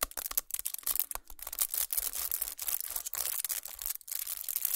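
Fingernails scratch, press and tap the crinkled aluminum foil wrapping of a chocolate bar resting on a towel. The result is a fast, dense stream of bright, crisp crinkling and tearing-like rustles with sharp little ticks, mostly high in pitch and with almost no low end. Each sound dies away almost instantly.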